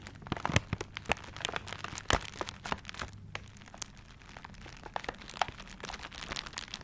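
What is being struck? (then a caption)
Gift box wrapped in paper. Fingertips scratch and tap the tiger-print wrapping paper of a gift held upright close to the microphone. Dry, crinkly scratching runs throughout, broken by sharp, bright taps and crackles that die away almost instantly over a faint low hum.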